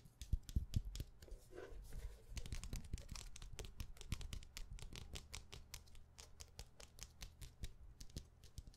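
A dark, solid hardcover notebook held in the hands is tapped and scratched quickly on its cover with long nails. Rapid, sharp clicking taps with a dull low thump run throughout, with a brief scratchy rasp near the start. Each tap dies away almost instantly.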